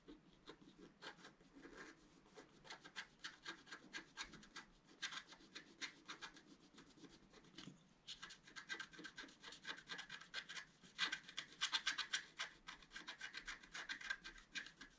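A wooden stylus scratches steadily across a flat black-coated scratch-art card near the top centre of the design. Quick, dry, bright rasping strokes repeat at about four per second, with a brief lull near the middle. The strokes grow louder and harsher toward the end.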